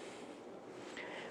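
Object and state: Nothing is struck.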